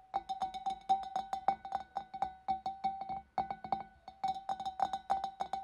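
Long nails tap the inner wall of the neck of a large, empty, hollow clear glass fish bowl from above, in a quick, uneven run of about thirty taps. Each tap gives a short, bright glassy ping centered near 780 Hz that dies away almost at once, with a brief pause before the tapping picks up again.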